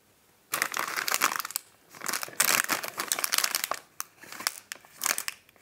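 Fingertips press, squeeze and handle a hand-sized, flat, rectangular sealed plastic-film pack of Champion chocolate Wafer Rolls, full of wafer rolls and lying on a white table. After a brief silence, bright, dry crinkling and crunching bursts come in uneven waves with short pauses between them.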